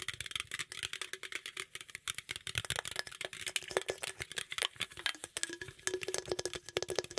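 Nails and fingertips scratch and tap rapidly on the sides and lid of a green aluminum beverage can held close to the microphone. The sound is a dense, irregular stream of short, bright, hollow clicks and scrapes with a faint metallic ring. Each tap dies away almost at once.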